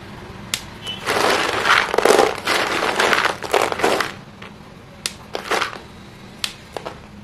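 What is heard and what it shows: Hands dig into a pile of small, solid white chalk pieces in a green plastic basin, rubbing and crushing them together. Gritty, crackling crunches swell in dense bursts over the first four seconds, then thin out into sharp, scattered clicks and short scrapes.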